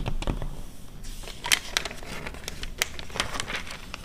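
An open glossy paper car magazine from 2009 has its pages scratched and tapped by long red nails, and pages are flipped. Dry crinkling paper rustle is heard with soft low thumps, bright sharp ticks and short crackly scratches, each dying out almost at once.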